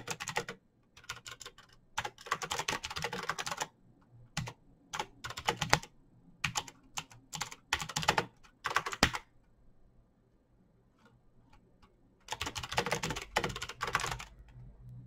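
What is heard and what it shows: Both hands type fast with their fingertips on a backlit plastic mechanical keyboard, a Razer BlackWidow with clicky green switches. Dense bursts of sharp, bright clicks come in quick runs separated by short pauses, over a faint low hum. The typing goes quiet for about two seconds near the ten-second mark, then resumes in a final flurry.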